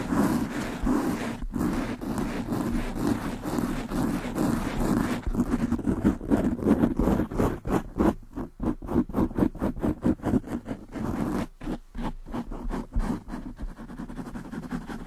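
Long nails on both hands scratch quickly over a black foam windscreen covering a large condenser microphone. The result is a dense, rumbling scratching sound, low and muffled rather than bright. It is fairly steady at first, then breaks into rapid, choppy bursts of strokes in the second half.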